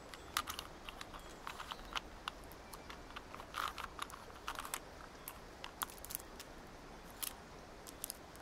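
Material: Plastic.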